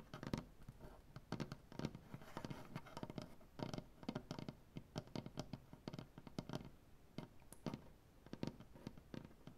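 Fingernails painted dark, on both hands, tap rapidly across a solid light wood butcher-block tabletop. The result is a quiet, dense patter of short, dry clicks with a warm low-mid body and almost no ring.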